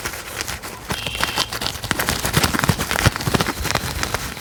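A cork object is tapped in a quick, uneven run of soft, dull knocks with a low thudding body and bright clicky tops. Each tap dies away almost instantly over a steady low hiss, giving a clip-clop-like patter.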